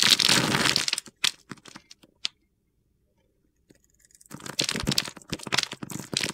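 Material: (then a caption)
Soap. A metal box cutter blade carves the scored surface of a solid rectangular pale green bar of soap, held in the hand, into small sticks, and the pieces crumble off. A dense, bright, gritty crunching opens the clip, then thins into scattered sharp cracks before a pause of near silence. The crisp crackling crunch then returns and continues to the end.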